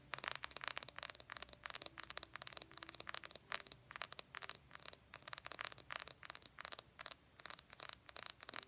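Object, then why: Small glass jar with cork lid. Fingernails tap and scratch the sides of a small, empty, hollow cobalt blue glass jar with a cork lid. About 35 quick, bright clicks and scrapes come in irregular bursts, each carrying a faint high glassy ping. They die away almost at once, with almost no low end.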